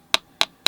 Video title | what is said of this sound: Watercolor Techniques that will Prove to be Vital! with Chris Petri | if I tap on this one, that's kind of annoying